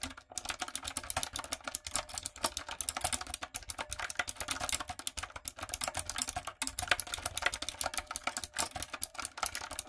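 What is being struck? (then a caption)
Mechanical keyboard with round plastic keycaps. Long nails and fingertips type steadily on a retro typewriter-style backlit mechanical keyboard with round plastic keycaps. The result is a dense run of sharp, bright clicks and clacks that die away instantly, with only brief pauses in the rhythm.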